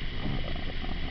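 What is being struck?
Nothing is struck.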